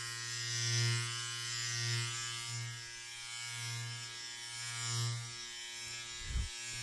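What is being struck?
Nothing is struck.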